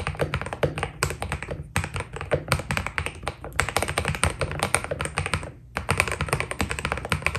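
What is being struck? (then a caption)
Mechanical keyboard with PBT plastic keycaps. Fingertips type rapidly on a white Keydous NJ80 mechanical keyboard with PBT plastic keycaps. The result is a dense run of short, dry key taps with a bright click on top and a solid low body beneath. The typing pauses briefly near the end before resuming.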